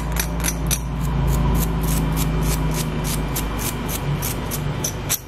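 Fingernails scratch and flick across the dark plastic comb teeth and bristle brush of a small dual-sided eyebrow brush-comb with a light handle, held close. This makes a quick, fairly steady run of crisp, high-pitched ticks and rasps over a constant low hum.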